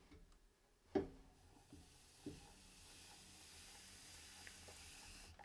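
A metal trimming tool (kanna) scrapes and carves the foot of a medium-size, unfired, leather-hard clay pitcher, hollow and empty, as it spins upside down on a potter's wheel, throwing off clay shavings. Three short knocks with a faint tone near 391 Hz stand out early; the loudest comes first and dies away quickly. After them, a steady, soft, gritty scraping hiss continues over a low hum that may be the wheel motor.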